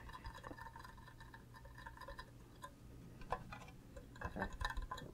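An empty, green, cube-shaped hollow plastic Minecraft creeper mug with a handle is tapped with fingernails on its sides and base. Quick, light taps give short hollow clicks with a faint pitched ring near 1 kHz. A steady low hum runs underneath, and the tapping grows louder and busier toward the end.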